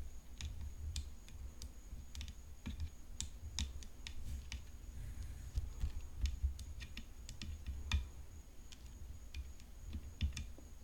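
Long nails tap the frame of a hollow composite tennis racket decorated with rhinestones as it rests on black cloth. Sharp, bright clicks land in a quick, irregular series and die away almost instantly, over a low, steady rumble and a faint, constant high tone.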